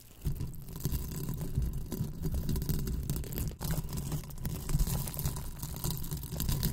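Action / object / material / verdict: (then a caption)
scrape / foam hair rollers covered in velcro / velcro, foam / none. Two small pink hollow velcro-covered foam hair rollers are held in both hands in front of a microphone while fingers squeeze, rub and pull their velcro surfaces against each other. After a brief quiet start, a continuous scratchy, crackling rustle with a heavy low rumble runs to the end, with faint bright grit on top.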